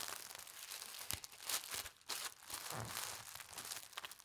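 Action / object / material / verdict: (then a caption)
scrape / folded tissue paper / paper / none. A folded strip of pastel-striped tissue paper is lifted, folded, then pressed and rubbed flat by hands with red nails. The result is a steady, bright crinkling and rustling with little low end, broken by a few sharper crisp crackles as the paper is creased and smoothed.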